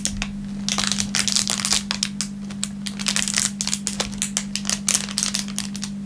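A thin, clear plastic film wrapper on a wooden table is squeezed and crushed flat with the fingertips of both hands. It makes dense, bright crinkling and crackling in quick, irregular bursts over about six seconds, with a steady low hum underneath.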